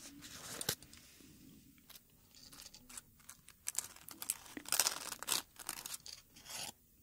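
Fingertips rub and crinkle the dry, brittle petals of a single dried dark red rose bud on its stem, held close. Bright, crisp crackling and rustling arrives in uneven bursts with short pauses, and the louder crunches stand out near the end.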